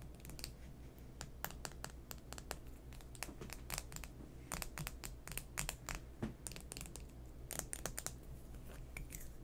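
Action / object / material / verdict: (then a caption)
tap / plastic lipstick tube / plastic / none. A small navy plastic lipstick tube with a silver band, a hollow closed case, is held in both hands over a pile of lip products and tapped and rubbed with fingertips and nails. Rapid, bright, crisp clicks and scratchy taps come in uneven bursts throughout, over a steady low hum.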